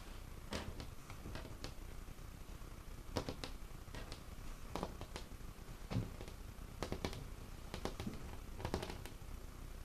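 Fingertips tap and scratch on a large, solid, dark-stained wooden tabletop with visible grain. Quiet, dry taps with bright click edges come in irregular clusters and die away almost instantly. Soft scratching and a low, steady background rumble run underneath.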